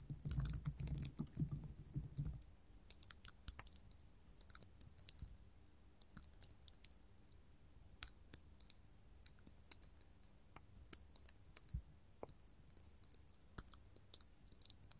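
A small clear hollow hobnail glass candle holder, set on a table and then held in the hand, is tapped with long gold metal finger claws. Quick, bright glassy clinks and ticks come in scattered bursts, with a soft low rumble of handling at the start.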